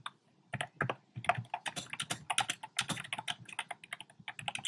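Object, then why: Plastic mechanical keyboard keys. Fingertips with short painted nails type rapidly on a compact plastic mechanical keyboard with round pink, red and cream plastic keycaps in a dark frame. After a brief quiet start, a steady run of sharp, bright clacks with a soft low thump underneath follows, each one short and dry with almost no ring.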